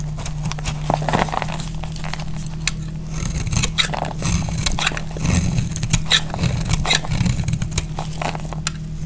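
A utility knife blade cuts and scrapes a solid, oval, dried soap bar with red and white stripes, held in the hand, breaking it into crunchy flakes. Dense, dry crackling scrapes and bright crunchy snaps repeat over a steady low hum. The sound runs continuously, with louder bursts in the middle.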